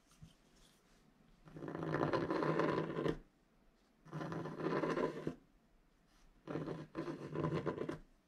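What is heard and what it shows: A wooden stylus scratches fine lines into the upper area of a flat scratch art card made of black-coated paper board. Three bursts of dry, rasping scratching come with quiet pauses between them, and the texture is gritty and concentrated in the low-mid range.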